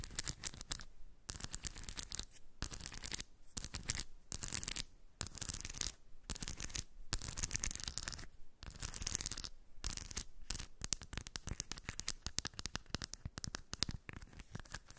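Long white nail tips scratch across a small round cork dish full of shiny steel ball bearings held in one hand. Bursts of bright, gritty scratching and rattling alternate with brief silent gaps. Toward the end, the strokes turn into quicker, denser flurries.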